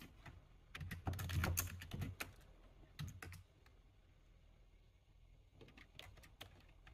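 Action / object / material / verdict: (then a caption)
tap / plastic computer keyboard / plastic / none. Fingertips of both hands type on the plastic keys of a full-size black plastic computer keyboard. Quick, dry key clacks with low thuds and bright clicks come in an uneven, dense burst, then a brief lull. A lighter run of keystrokes follows near the end.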